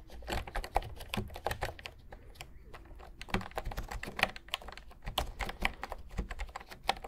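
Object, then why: Plastic keyboard with round keys. Fingertips type rapidly on the round pastel keys of a full-size cream plastic retro keyboard, held and tilted in front of the microphones. A fast stream of short, dry plastic clacks with bright click tops and a soft low thump beneath. The typing briefly thins out around the middle before picking up again.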